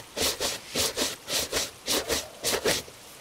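A bristle shoe brush, held in a gloved hand, is rubbed vigorously over a hollow tan leather dress shoe. It makes ten quick, bright, hissy swishes in five back-and-forth pairs, each with a soft scratchy body and no ring after it. The clip ends in a faint hush.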